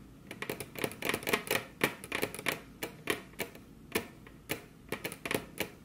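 Very long curved nails on both hands tap their tips on a flat, solid, glossy dark-brown wood-grain table top. The result is an irregular run of sharp, dry clicks with a bright edge: dense flurries early on, then more spaced-out taps. Each click dies away almost at once.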